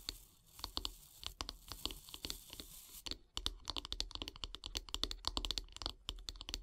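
Long nails tap on the solid light-wood handle of a wooden bath brush; the hands are briefly out of view at the start. Dozens of quick, dry, bright clicks follow in an uneven rhythm, with a soft scratchy hiss underneath. They pause for a moment near the middle, then resume in a faster, denser run.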